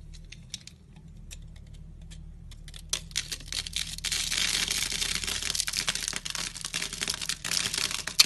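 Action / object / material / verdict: scrape / bar of soap / soap / none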